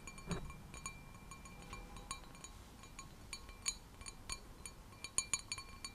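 An empty, clear, stemmed wine glass with a white design is held in both hands and rapidly tapped with long nails. Quick, bright clinks ring high and fade almost at once over a soft low rumble. The taps come in irregular bursts, some louder than others.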